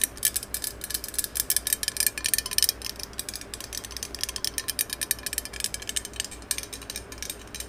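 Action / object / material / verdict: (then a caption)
tap / metal aerosol can / metal / none. Long yellow acrylic nails rapidly tap and scratch along the length of a hollow, hand-held green cylindrical metal aerosol spray can. A dense stream of sharp, bright, high clicks and scrapes follows, each dying away almost instantly over a faint low hum.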